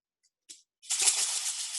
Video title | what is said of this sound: Story Time with Maura Markley Pollak '70 | when you shake it, it makes a great rattle